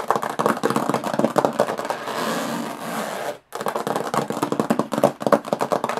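Long nails scratch fast across the textured lid of a closed, hollow aluminum carry case, making rapid, gritty scraping strokes with a hollow metallic tone centered in the mid range. Midway the strokes blend into one steadier, smoother scrape, then a brief silence falls before the quick scratching picks up again.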